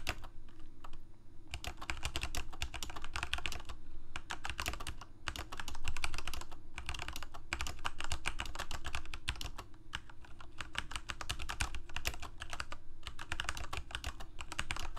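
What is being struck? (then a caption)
Plastic mechanical keyboard. Fingertips of both hands type rapidly on a full-size Corsair mechanical keyboard with plastic keycaps on mechanical switches, a hollow plastic case and blue backlight. The result is a dense, uneven stream of short, sharp clacks with bright clicky edges over a deep, steady low hum, broken by brief pauses near 1, 5 and 10 seconds.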